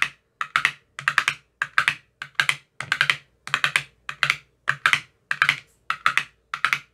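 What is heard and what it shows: A thin metal rod taps rapidly inside the cells of an empty clear plastic ice cube tray with green silicone cell bottoms. Short bursts of quick, bright clicking come in clusters separated by brief silences. Each tap dies away almost instantly.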